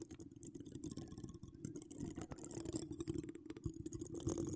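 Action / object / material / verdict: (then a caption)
scrape / woven metal mesh microphone grille / metal mesh / none. Long decorated acrylic nails from both hands scratch a hollow woven metal mesh microphone grille, making a dense, continuous stream of rapid scratchy clicks and rasps. A steady low hum sits near 330 Hz beneath bright, high-frequency scraping.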